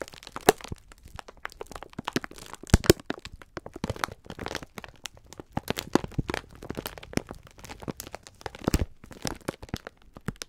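Fingers pinch, rub and crinkle the clear plastic film wrapper of a full pack of sponge scourers. The result is a steady run of dense, sharp crackles and crunchy crinkles with a few louder snaps, each dying away almost instantly over a soft low rumble.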